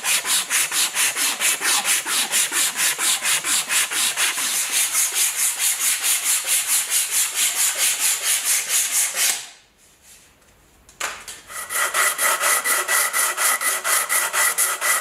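A long, solid, light-coloured wooden hammer handle, freshly shaped, is sanded by hand: a strip of sandpaper held in the fingers is rubbed around it, and then the handle is rubbed along a sheet of sandpaper. Steady, bright, rasping back-and-forth strokes repeat at a quick, even pace, stop for a brief quiet pause, then resume with a slightly more tonal scrape.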